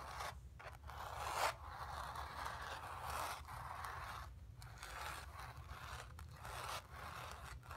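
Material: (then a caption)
Cotton canvas. Long nails scratch across the surface of a stretched, painted cotton canvas, making a steady, dry, rasping scrape centered in the mid-range with brighter highs. The scratching comes in repeated strokes with short pauses between them, over a constant low rumble.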